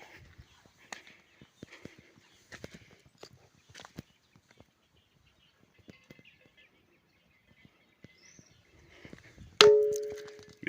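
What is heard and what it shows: The Pedra do Sino, a loaf-shaped boulder sitting on a rock slab, is struck while the ground is wet from almost daily rain. After faint scattered ticks and rustling, one sharp hit near the end gives a clanging, bell-like ring around 420 Hz that fades quickly. The stone still rings in wet weather, showing the season makes no difference.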